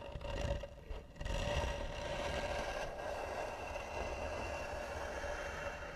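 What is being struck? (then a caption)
Carved varnished wooden box lid. Fingernails scratch slowly and hard across the hollow lid of a carved, varnished wooden box. A continuous, rough scraping carries a low, hollow rumble and a steady mid-range tone, with a brief dip in loudness near the start before it settles into an even, sustained scratch.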